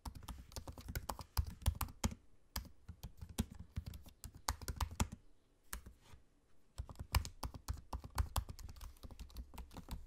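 Fingertips type on a MacBook-style laptop keyboard with low-profile plastic keycaps set in a space-grey aluminium body, making quick, dry taps with a soft low thud under each keystroke. The typing runs in rapid bursts, pauses briefly just after the six-second mark, then resumes at a steady pace.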